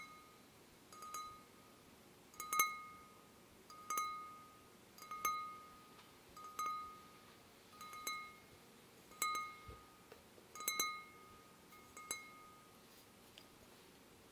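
A wine glass is gently tapped again and again at a slow, uneven pace. Each tap gives a bright, clear ring with tones near 1.2 kHz and 2.2 kHz that fades quickly, like a small chime or musical instrument.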